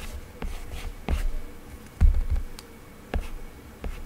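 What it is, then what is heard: Tablet glass screen with matte plastic protector. A hard plastic Apple Pencil tip scratches and glides across the matte textured Paperlike plastic protector on the glass screen of an iPad lying flat. Six short, dry drawing strokes are heard, each a soft scratchy tap with a brief swish, over a faint low hum.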